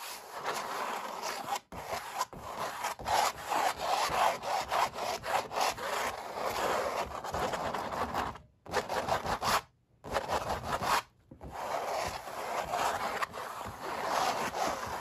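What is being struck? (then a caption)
Oil-painted stretched canvas. Fingertips and nails rub and scratch the textured paint on a stretched, painted oil-painting canvas. The result is a dense, continuous scratchy rasp centered in the midrange with a bright edge, broken by a few brief pauses before the scratching resumes.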